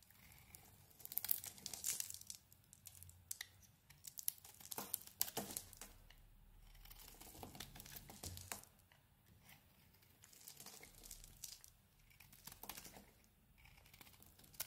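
A metal blade carves and scrapes crumbly white flakes off a solid red-coated white bar of soap held in the hand. Quiet, dry, crinkly scraping and crumbling comes in repeated bursts, mostly bright and high with little low end.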